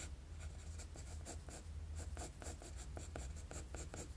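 A wooden graphite pencil makes sketching strokes across a flat sheet of drawing paper. Short, bright, scratchy strokes repeat in a quick rhythm over a steady low hum.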